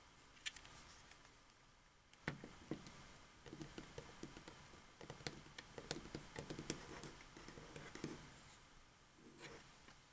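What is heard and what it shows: A white, hollow, hard-plastic wireless Xbox 360 controller has its triggers clicked, then the lower edge of its shell tapped with fingertips and nails. Quiet, sharp plastic clicks are followed by a run of light, hollow taps with bright edges and very short decay over a soft background hiss.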